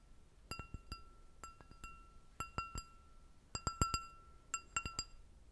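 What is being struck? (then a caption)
Stemmed glass goblet. Long red nails tap an empty, hollow, clear glass goblet with a short stem, in quick clusters of light taps. Each tap gives a bright clink with a clear ringing tone near 1.3 kHz and high overtones, fading within about a tenth of a second between short pauses.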